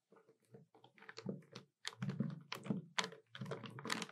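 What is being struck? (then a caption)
Plastic desktop calculator keys. Long nails tap the keys of a hollow black plastic desktop calculator in quick, uneven runs of short clicks. Each tap lands with a dull, hollow thunk under a bright, dry click, and the sound dies away almost at once between bursts.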